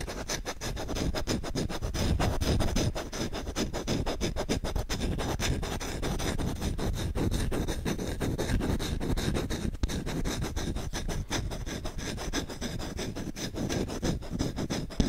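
Fingertips rapidly scratch the bowl of a solid wooden spoon held close to the microphone. The result is a dense, continuous, fast rasping scratch with a heavy low-end rumble and little brightness, holding a steady level for about fifteen seconds.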